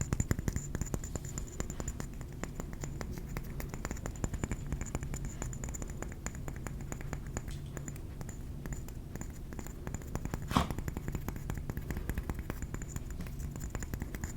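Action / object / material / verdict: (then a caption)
tap / ceramic trinket plate / ceramic / none. A ceramic trinket plate is tapped with the fingernails in a rapid, steady stream of soft, dry clicks with a dull, low-heavy body and a faint steady high tone in the background. One sharper, louder tap stands out about two-thirds of the way through.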